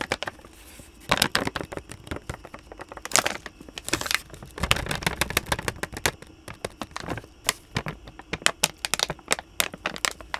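A hand-sized blue Canine Carry-Outs plastic snack bag filled with dog treats is held near the mic and crinkled, squeezed and tapped with the fingertips. Sharp, bright plastic crackles and crinkles come in dense bursts with quick taps between them, each snapping off almost instantly.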